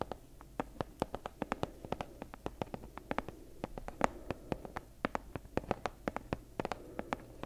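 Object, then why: Leather-covered book tapped with fingernails. Long acrylic nails tap and scratch the front of a medium-sized, leather-bound book with a worn brown leather cover, held upright in both hands. About forty quick, sharp, dry taps come in an uneven rhythm with very short decay, over a faint, continuous scratching hiss. The taps carry a muted mid-range tone with bright clicky edges.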